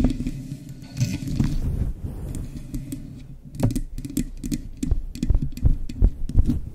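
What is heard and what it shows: Long chrome nails and fingertips rub and scratch a soft, hand-sized, grey-white fluffy faux fur windscreen covering a microphone. It produces deep, muffled rumbling scrapes with brushy crackles that come in quick, uneven bursts and grow louder and busier toward the end.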